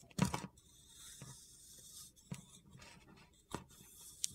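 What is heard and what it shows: A solid blue rectangular soap bar held in the palm is scraped and flaked with a metal utility knife blade, and chips fall off. Five short, dry, crunchy scrapes are heard, with a soft gritty hiss of the blade rubbing between them.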